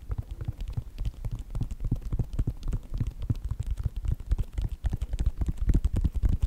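Fingertips and nails rapidly tap and scratch the synthetic leather upper of a white Nike sneaker with a foam sole and hollow inside. This makes a quick, irregular patter of dull, low, muffled thumps. Each hit dies away almost instantly, with faint scratchy texture between them.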